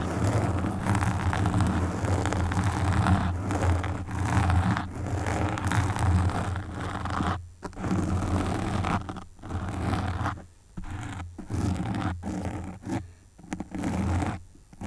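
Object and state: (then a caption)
Foam microphone windscreen being scratched. Long pink nails scratch and stroke the black foam windscreen on a desktop microphone. The result is a dense, muffled, low rumbling scrape, heavy in the bass with almost no bright content. The scratching runs continuously at first, then breaks into shorter bursts with brief quiet gaps toward the end.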